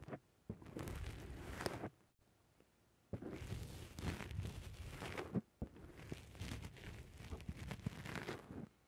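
A fingertip presses and squishes a black rounded foam windscreen on a microphone from the top and sides. This makes dense, crackly, muffled rustling that is heavy in the low end, in three long bursts separated by near-silent pauses.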